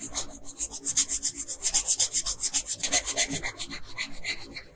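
A wooden colored pencil shades the face area of a thin paper coloring sheet lying flat on a table, scratching in quick back-and-forth strokes. The dry, bright, papery rasp comes in a fairly steady run of about two dozen short swipes, each stopping dead with no ring.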